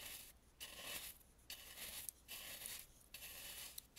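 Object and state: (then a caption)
Carved wooden mask being brushed. A large dry bristle brush sweeps around the eyes on the front of a hollow, face-sized Balinese carved and painted wooden mask. A series of soft, bright, hissing brush strokes rise and fade in rhythmic bursts, with little low end and the occasional faint tick.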